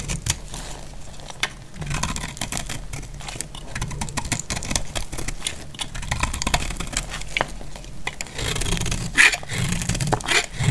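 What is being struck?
Soap bar cut with a metal blade.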